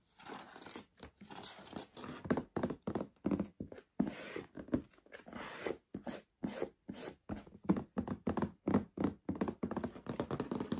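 Fingertips and nails tap and scratch the ribbed teal plastic lid and side wall of a large hollow storage box with a clear plastic body and items inside. Dull, hollow thunks with a low-mid body come in quick irregular bursts, mixed with dry scratching rustles. Each tap dies away almost at once.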